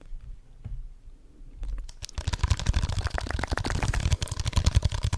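A small, hollow, empty red plastic cup with a textured surface is held in both hands and tapped fast with fingertips and nails close to the microphone. After about two seconds of faint, low handling sounds, a dense run of quick tapping begins, with deep hollow thuds and bright clicking nail strikes that stop short with almost no ring.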